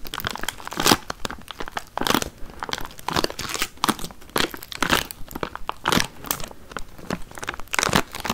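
A small clear plastic tray full of watermelon chunks and sealed with a thin plastic film is held in both hands close to the mic and tapped and scratched with long painted nails. The film gives off dense, bright crinkling and crackling, with louder rustling bursts scattered through the clip and short, dry taps that die away almost instantly.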